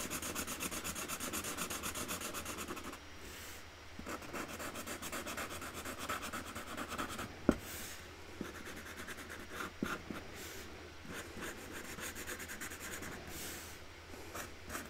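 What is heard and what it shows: A hand colours in a small printed flower on a large, flat cardboard box lid lying on a table, decorated with a tree-and-flowers design, using a Sharpie felt-tip marker while loose markers lie untouched beside it. The pen makes a steady, dry scratching and rubbing sound in quick back-and-forth strokes, with a couple of brief sharp ticks partway through. A faint low hum sits underneath throughout.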